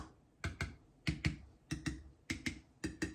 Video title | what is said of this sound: How to make Marmalade! | The rest of them have all got a beautiful ping.